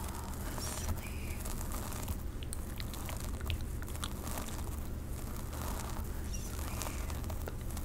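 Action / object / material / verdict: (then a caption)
scrape / synthetic wig hair on a mannequin head / synthetic fibre / none. Long pink acrylic nails scratch slowly through the hair and along the parting of a dark synthetic long-hair wig on a solid mannequin head, held close to the mic. Soft, crinkly scratching and rustling run steadily over a constant low hum, with faint brighter ticks scattered throughout.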